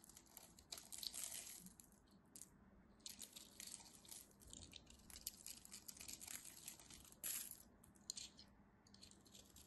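A metal craft knife scrapes powdery flakes off the face of a solid cream soap bar. The scraping comes as a series of dry, crisp rasps with bright, high hiss, some strokes louder than others, over a quiet background.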